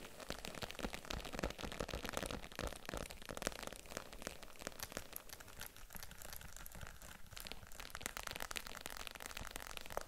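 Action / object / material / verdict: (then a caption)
tap / faux leather handbag / faux leather / none. Long nails tap and scratch the leather sides of a small pink faux (vegan) leather handbag with a metal zipper, held in the hands, hollow and apparently empty. Quiet, dense, irregular taps and dry scratching, crinkly strokes fill the clip steadily, each sound short and dull with no ring.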